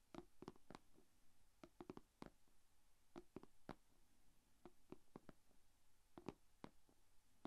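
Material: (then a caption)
Plastic. Long painted fingernails tap on the closed lid of a small, shallow, rectangular clear plastic food container holding glitter slime. About twenty quiet, dry, clicky taps come in irregular clusters; each is a sharp broadband tick with a soft hollow tone around 300 Hz that stops almost instantly, over a faint low hum.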